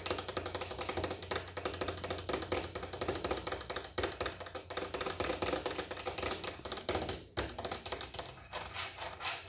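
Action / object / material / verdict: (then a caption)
tap / hard-shell plastic suitcase / plastic / none. A large black hollow hard-shell plastic suitcase with a textured shell and a plastic carry handle near a combination lock is tapped and scratched with long painted fingernails and fingertips, first on the shell and then on the handle. Rapid, dry, bright clicking taps with scratchy rasps run continuously, with a brief pause past the seven-second mark. Each tap dies almost instantly, leaving a low steady hum beneath.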